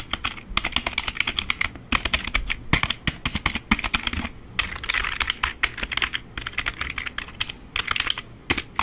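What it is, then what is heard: Plastic computer keyboard. A black full-size plastic membrane keyboard is held up while fingertips and fingernails tap and type rapidly on its keys. Fast, bright, clattering plastic clicks arrive in dense bursts with brief pauses, each tap short and dry with almost no ring.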